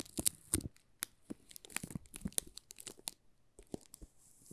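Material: Plastic film.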